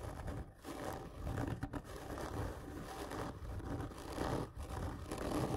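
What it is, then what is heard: Cardboard tube being scratched. Both hands slowly and hard scratch long fingernails across a large, hollow, black printed cardboard whisky gift tube lying on its side on a table. The result is a steady, rough scraping with a deep, hollow low rumble and very little high-end content, broken only by a few brief pauses.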